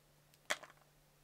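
A yellow utility knife blade slices a thin curl from a solid, palm-sized multicolor layered soap cube held in a hand wearing a fingertip guard. A sharp, bright crisp snap of the cut is followed by a softer second scrape. A faint steady low hum stays underneath.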